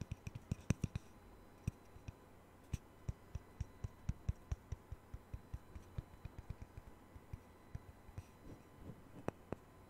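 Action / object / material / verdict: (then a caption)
tap / thin round wooden disc / wood / none. Fingernails tap and click on a small, thin, solid round wooden disc, the sound-hole cutout from a Taylor guitar, held beside a knit-covered microphone. About two dozen quiet, dry taps sound at irregular intervals, each a dull low knock with a brief bright click that dies away at once without ringing.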